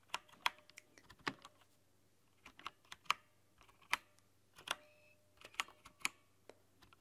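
Long nails type continuously on the white plastic keycaps of a backlit mechanical keyboard. About fourteen sharp, bright clicks come in uneven bursts over seven seconds, each dying away almost at once. Quieter taps fall between them over a faint low hum.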